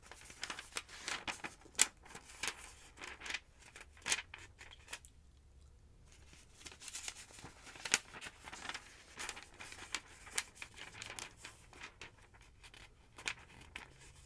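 Fingertips with long nails lift and flip the thin pages of a large, thick yellow paper phonebook lying open on a wooden table. Quiet, bright, crisp rustles, crinkles and paper rubbing come in quick bursts, with a brief near-silent pause in the middle before the page turning resumes.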